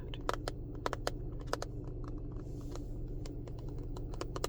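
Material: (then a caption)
Plastic. Fingernails tap on a small, empty plastic container that normally holds lobster-claw clasps for jewelry making. The taps come as quick, irregular, dry clicks with no ring, over a steady low hum.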